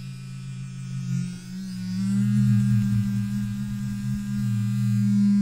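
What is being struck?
Nothing is struck.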